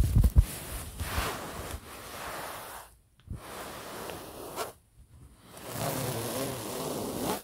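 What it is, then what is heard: Polyester pillow cover being scratched. Fingernails of both hands scratch across a printed polyester pillow cover, making a steady, breathy, zipper-like rasping that spreads from low to high. The scratching comes in three passes separated by two short silences, with a few louder bumps at the very start.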